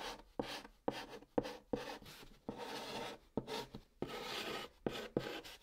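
A white chalk stick held in the fingertips writes Korean letters on the hollow top of a large, flat brown cardboard box. Each stroke starts with a sharp tap and then a dry, scratchy rasp of chalk dragging across the cardboard, with a hollow midrange tone and no ring. The strokes come in uneven bursts separated by brief pauses.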